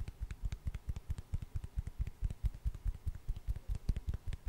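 A hand-sized solid wood slice with a bark edge is tapped rapidly with long orange nails close to the microphone. About 25 short, dull, low thuds land in a quick, uneven rhythm, each with a faint bright click of nail on wood, and they die away almost instantly.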